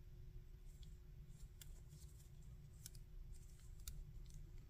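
A small hard-plastic articulated Cell action figure with a plastic wing piece is held in both hands while fingertips move its joints and rub its surface. Quiet, bright plastic clicks and scratchy rubs come in scattered bursts over a steady low rumble and a faint constant hum.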